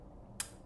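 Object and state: Baked-through bread loaf, sounds hollow.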